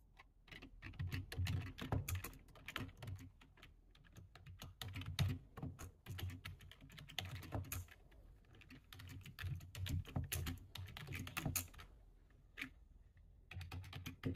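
A full-size black plastic computer keyboard is typed on quickly with the fingertips of both hands. Dense bursts of short, clicky keystrokes come in uneven runs with brief pauses, each tap having a dull low thud under a bright tick and dying away almost at once.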